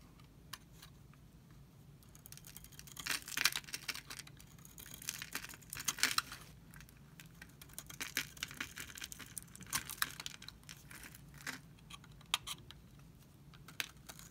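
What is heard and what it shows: A utility knife blade scrapes and shaves curls off the embossed face of a dry, solid, pink, oval, palm-sized Camay soap bar held in the hand. The cuts make quiet, bright, crisp scratching and crackling bursts in uneven strokes, each stopping dry with no ring.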